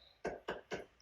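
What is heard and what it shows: A hard coat (traditional cement) stucco wall is tapped three times, each tap giving a short, dull knock with little ring. The wall sounds solid and firm rather than hollow, which marks it as a hard coat stucco system.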